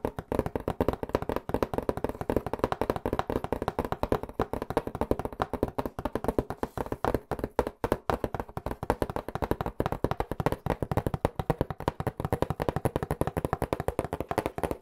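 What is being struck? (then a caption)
Corrugated cardboard pizza box. A hollow white corrugated cardboard pizza box, held flat against the mic, is tapped quickly with fingertips on its top and sides. Around fifteen seconds of rapid, steady drumming follows, made of short, dry, hollow knocks with a warm midrange thump and almost no bright edge. Each tap dies out instantly.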